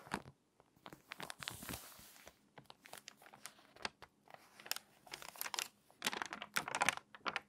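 Long-nailed fingers flatten the open spread of a water-damaged, crinkly glossy paper magazine, crease its spine, then lift a page edge. The result is quiet, dry bursts of crisp crinkling and crunching paper, bright and sharp with almost no low end. A longer rustle comes early, and denser crackles cluster near the end.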